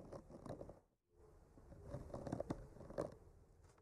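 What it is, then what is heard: Painted wooden panel scratched with a skewer. A bamboo skewer with a clipped-on mic slowly traces across a flat, solid painted wooden art panel, making quiet, dry scratching and scraping. The scratching drops to near silence just before one second, then resumes, growing a little louder with a few sharper ticks before easing off.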